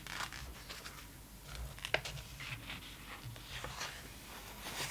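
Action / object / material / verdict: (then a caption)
tap / glossy paper magazine pages / coated paper / none. An open glossy paper magazine lies flat while long nails tap and trace over its pages, with one page flipped in the middle. Soft, bright papery scratches and light taps are heard over a low hum, with a sharper crisp flick near the two-second mark.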